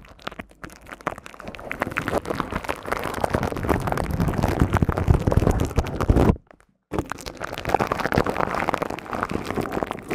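Long nails and fingertips scratch and tap the silver woven metal mesh grille of a hollow, hand-sized studio microphone. Dense, rapid scratchy taps build in loudness with a strong low-end thump, then stop in a brief silence before the scratching resumes.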